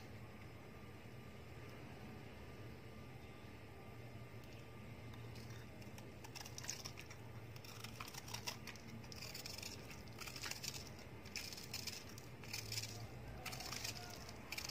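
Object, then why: Ball of packed sand. A small, palm-sized ball of packed grey sand, held in one hand over a clear plastic tray, is scraped with a steel knife blade, and crumbles fall into the tray. After a few quiet seconds of low hum, soft, irregular bright scraping strokes and gritty crumbling patter start and continue at a low level.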